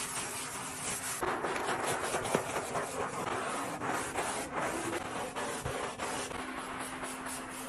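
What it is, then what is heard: Granite countertop being scrubbed. A hand in a teal rubber glove scrubs a solid slab of speckled dark granite kitchen countertop, covered in soap foam, in circles with a blue scouring sponge. It makes a continuous, bright, hissy rubbing sound with repeated swishing strokes that swell and fade, over a faint steady low tone.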